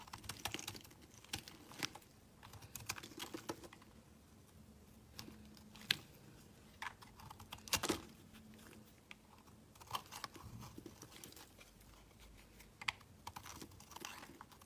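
A metal blade scrapes and shaves flakes off a solid green rectangular bar of soap held in the hands. Quick, dry, bright scraping clicks and crackles come in irregular bursts over a quiet background with a faint low hum.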